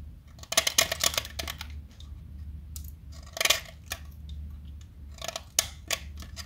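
A small, solid light-blue blackboard chalk stick is held by hand and carved with a metal box-cutter blade, with chalk flakes falling away. Bright, crisp scraping and cutting strokes come in short bursts and clusters over a faint, steady low hum.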